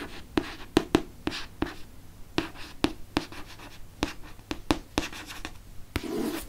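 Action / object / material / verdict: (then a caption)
scrape / hardcover book with glossy cover / cardboard / none. Fingertips and nails trace and lightly scratch the glossy front cover of a Chamber of Secrets hardcover book. About 14 sharp, dry clicks and ticks stand out over a faint, soft rasping. The clip ends in a longer, louder scratch.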